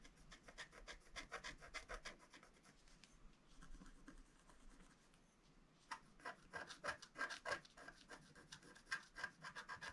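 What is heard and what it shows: A wooden stylus, held by the fingertips, scratches and hatches a flat black sheet of wax-coated scratch art paper. Quick, dry, raspy strokes repeat at a brisk, uneven pace with a bright edge. They soften into quieter rubbing midway through, then return as sharper, louder scratches.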